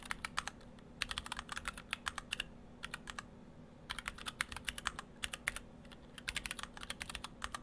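Fingertips of both hands type on a split ortholinear mechanical keyboard in two halves with clear acrylic cases, white and cyan PBT dye-sub plastic keycaps and Gateron Brown switches. Bursts of quick, bright keystroke clicks and clacks come in fast runs separated by short pauses, each stroke dying away almost instantly over a faint low hum.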